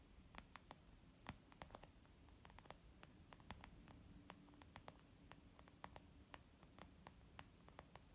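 Both hands gently tap a flat, soft, white textured leather zip makeup pouch lying on a wooden table, using long almond-shaped nails and fingertips. The result is a quiet, steady patter of short, dull taps with occasional brighter, crisper nail clicks, set over a low, rumbling background hiss.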